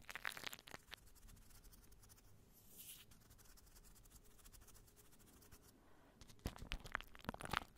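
Fingertips and long nails scratch and squeeze clear plastic cling wrap stretched over a microphone. Sharp, bright crinkling and scratching bursts open the clip, settle into a quieter, steady rustle through the middle, then return louder and crunchier toward the end.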